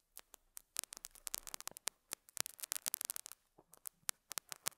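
A metal dental scaler hook scratches and picks at a small square beige felt pad fitted on a lapel mic. It makes an irregular run of about two dozen sharp, bright, dry ticks and scritches with almost no low end. Each one cuts off instantly, with faint hiss between them.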